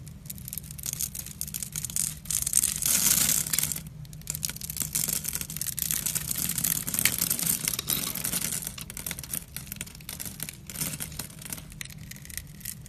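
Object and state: Bar soap being carved.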